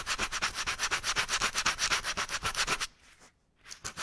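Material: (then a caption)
Rubber. Fingertips steadily rub sandpaper back and forth over one patch of a deflated black rubber bicycle inner tube held in a loop, to prepare it for patching. Quick, even, bright scratchy strokes come about four per second for nearly three seconds. Then the sound drops to near silence before a few fainter strokes return at the end.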